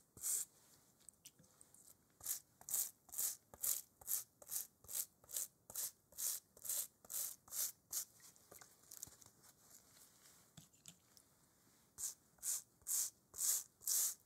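A small bristle brush scrubs a hollow, inflated, leather-covered American football held upright in a gloved hand. After one early stroke, a steady run of fourteen quick, bright, scratchy brushing strokes follows. A quiet pause of faint rubbing comes next, then five more crisp strokes.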